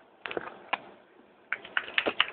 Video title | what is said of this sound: how to make your own NYC mop | when you shake it as you can hear it has a little piece of metal it shakes well the paint